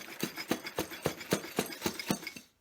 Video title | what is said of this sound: Book Scents Refill Program - Shipping Your Containers | this is not the sound you want to hear this is not the sound I want to hear because ultimately those containers are busted